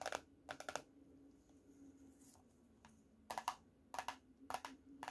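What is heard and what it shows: Painted fingernails tap and scratch the laminated cardboard cover of a closed teal hardcover paper notebook, held slightly tilted and lifted. Short, sharp, bright clicks come in quick clusters at the start and again near the end, with a quieter stretch of faint scratching in between. A low, steady hum sits underneath throughout.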